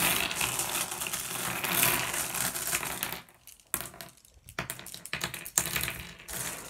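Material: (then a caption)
Glass. Small solid blue glass gem pebbles on a wooden table are gathered into a pile by hand, then pressed and shuffled. A dense, bright rattle of clinks fills the first three seconds, then thins into scattered sharp clicks separated by short quiet gaps.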